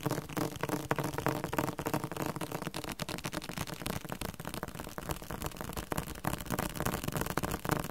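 A thick, solid yellow-green Spanish-Korean dictionary with a glossy coated hard cover is held and tapped on its cover with fingertips and nails. The result is a fast, uneven stream of short, dry taps: dull low thuds mixed with sharper nail clicks that stop almost instantly.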